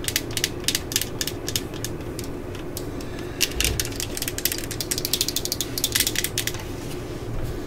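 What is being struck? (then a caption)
Plastic cordless drill housing. Long acrylic nails tap across the hollow yellow and black plastic housing of a cordless drill in quick, irregular bursts. Each tap is a short, bright click that dies away almost at once, heard over a steady low background rumble.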